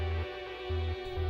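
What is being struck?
Nothing is struck.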